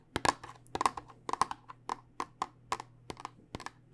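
A tall clear plastic tube filled with small dice is held upright and tapped with long nails. The result is an uneven run of quick, sharp, dry clicks with a bright plasticky tone and almost no ring, over a faint steady low hum.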